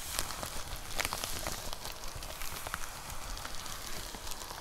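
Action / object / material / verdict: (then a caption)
tap / plastic poly mailer with a box inside / plastic / none. Long nails tap and scratch on a white plastic poly mailer with a box inside. Light, irregular taps mix with a steady, bright crinkling rustle of the plastic over a low rumble, sounding much like patter on a surface.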